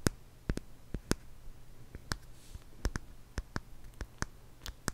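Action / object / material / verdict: tap / small wooden jar with lid / wood / none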